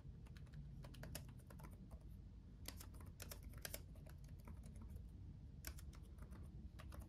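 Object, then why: Plastic laptop keyboard keys. Both hands type with their fingertips on a black laptop keyboard with RGB backlit plastic keys. Quick, bright clicky taps run in a steady stream over a constant low rumble, each tap dying away almost at once.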